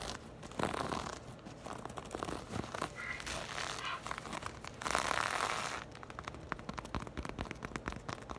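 Long acrylic nails quickly scratch and tap the ribbed weave of a black crochet or knit textile purse held in the hands. Soft, dry rasping swells in bursts, then gives way to a rapid, irregular run of sharp clicks and crinkly scratches. The sound is close and bright, with little low end.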